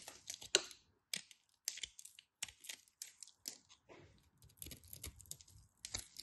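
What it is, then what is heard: Bar soap being carved. A solid orange bar of soap is carved with a utility knife, chunks breaking off as the blade scrapes and cuts through it. The result is a quick series of short, dry, crisp scrapes and crumbly snaps that are bright and thin with almost no low end, each dying away almost instantly.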